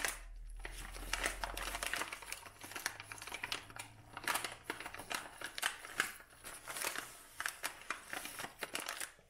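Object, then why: Dried lavender bouquet in a kraft paper cone. A dried lavender bouquet wrapped in a brown kraft paper cone is squeezed and crinkled by hand, producing dense, bright crackling and rustling in uneven bursts. A faint low hum sits underneath for the first couple of seconds.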